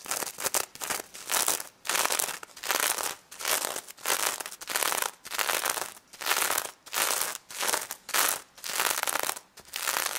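Long nails scratch and tap across a pink stuffed pig toy covered in plastic sequins, with a fabric snout. Heard are repeated bursts of bright, crackly sequin rustling separated by short pauses, with almost no low end.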